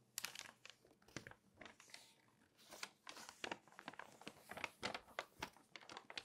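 An open glossy paper magazine is handled with long nails that scratch and rub across the pages and then turn them. Quiet, bright crinkling and papery rustle come in quick, dry bursts with little low end. Each page turn rises into a louder crackling crunch.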